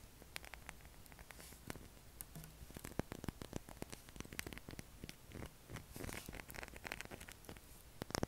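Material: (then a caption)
Soap. Fingernails tap and scrape a solid light-blue bar of soap with a heavily scratched surface, held in the hand and shedding soap flakes. Quiet, dry, rapid clicks and scratchy rasps follow one another with no ring, and a few sharper, brighter scrapes come near the end.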